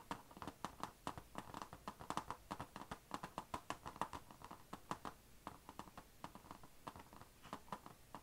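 Long nails tap and scratch near the chrome HP logo on a closed, dark grey, thin, hollow laptop lid with a painted plastic/metal shell. Many quick, sharp clicks with a hollow midrange tone come in an irregular run, with soft scratching between them. The sound stays quiet throughout.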